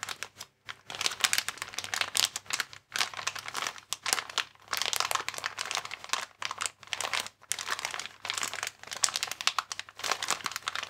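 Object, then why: Inflatable plastic air column packaging. A hand-sized clear plastic air column cushion bag, inflatable packaging with air columns, is held in both hands while the fingers squeeze and crinkle its plastic film. The result is dense, bright crackling and crinkling in rapid bursts separated by brief pauses, with little low-end body.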